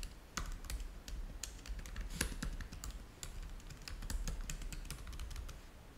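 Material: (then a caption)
Plastic. Both hands type fast with their fingertips on the keys of a black plastic laptop keyboard. Quick, dry plastic clicks and taps run in a steady, uneven stream, each one short and bright over a low rumble.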